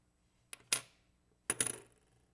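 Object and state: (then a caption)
Genuine silver quarter. 1964 silver quarters are ping-tested in a rapid run, giving four quick, bright metallic pings in two close pairs, each with a short high ringing tone that fades fast. The ring tests positive, marking them as authentic 1964 silver quarters.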